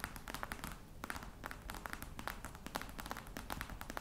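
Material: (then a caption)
Faux leather. Long nails tap and scratch the top of a hollow black croc-embossed faux leather box. Rapid, crisp taps with short, dry decay mix with soft scratching, giving a clicky mid-range tone over a low, quiet background.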